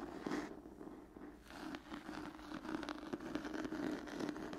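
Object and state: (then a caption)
Cloth-bound hardcover book. An old cloth-bound hardcover book with a textured cloth cover is scratched with long nails. The result is a continuous dry, rustling scrape with crackly grit and a steady mid-low tone around 300 Hz, in repeated strokes that swell and fade.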